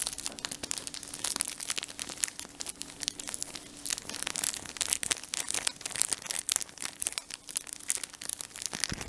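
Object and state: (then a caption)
Crinkly paper and foil gum wrapper. Fingertips crinkle and squeeze the edges of a full Brooklyn chewing-gum multipack in its crinkly paper and foil wrapper. Dense, bright crackles and snaps come in quick irregular bursts throughout, with almost no low end, over a faint steady low hum.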